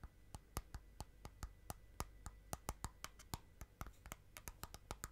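Long nails tap and click along the outer side wall of a small clear plastic tub holding green slime. About 25 short, sharp clicks land in an uneven rhythm, each bright and dying away almost instantly over a quiet, low background hum.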